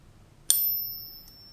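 A fake silver coin, centered in a Pocket Pinger, is flicked once, giving a single bright ping. It leaves two thin high tones, one higher and one lower, that fade slowly over about a second. Its short, thin ring marks the coin as fake.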